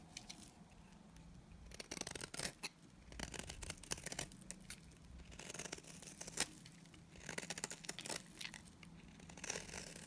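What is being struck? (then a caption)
Bar of soap. A solid oval tan bar of dry Timotei soap, held in the hand, is shaved and scraped along its edge with a utility knife blade. Bursts of dry, crisp scraping and crumbly crunching come in clusters with short quiet gaps between them. The sound is mostly bright, with a faint low hum underneath.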